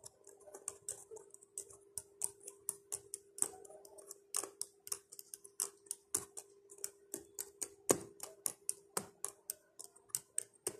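Fingertips and nails rapidly tap and press the black plastic numeric keypad keys of a laptop, giving about 36 sharp, bright clicks with very short decay. A steady low hum sits near 400 Hz beneath the quick, uneven rhythm of the taps.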